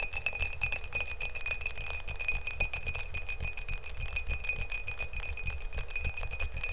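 Fingernails tap rapidly on the outside of an empty, hollow glazed ceramic mug, blue outside and green inside, held close to the mic. The fast stream of sharp clinks carries a steady ring near 2.5 kHz with bright upper ticks over a low, dull thump.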